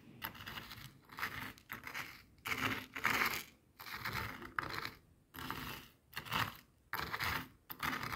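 Coarse bath salt grains on a white plastic board are crushed and rolled over by a small jade face roller with a metal frame. Bursts of gritty crunching and scraping come in repeated passes about a second long, separated by brief pauses. The texture is bright and crackly with little low end.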